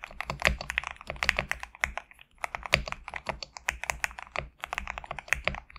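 Fingertips type rapidly on a GMK67 compact mechanical keyboard with PBT plastic keycaps. The result is a dense run of crisp, bright keystroke clacks with a light low thud under each one. The clicks die away almost instantly, and the run pauses briefly just past the two-second mark before continuing.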